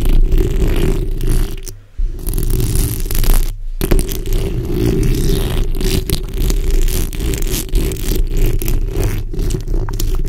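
Long red acrylic nails, using their backs, scratch continuously across the front and sides of the hollow steel mesh grille of a black condenser microphone. This makes a dense, rumbling scrape that is heavy in the low end with a 400 Hz band, pausing briefly near 2 and 3.7 seconds before carrying on.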